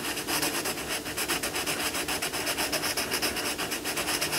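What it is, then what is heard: Crayon shading on a paper colouring book page. A hand shades a lion cub on an open paper colouring book page lying on a wooden table, using a crayon in steady rubbing and scratching strokes. The result is a continuous bright, papery scratch with little low end, pulsing about four times a second as each stroke goes back and forth.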